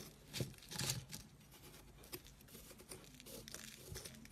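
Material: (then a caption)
Soap. A thin metal tool is pressed into a chunky white block of dried, chalky soap, held in the fingertips of a hand with dark painted nails, and scraped across its crumbly surface, scratching and carving it so powder falls off. Quiet, dry, crunchy scraping and crumbling crackle runs throughout, bright and gritty, with two louder raspy bursts near the start and a softer steady scratching after.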